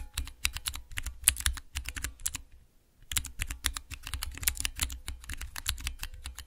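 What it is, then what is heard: Clear plastic keycap mechanical keypad. Long nails tap and press three tall, translucent clear plastic keycaps on a mechanical keypad with Cherry MX mechanical switches. Rapid, bright clicky clacks come in quick bursts over a low thock, with a brief silence near the middle before the tapping resumes.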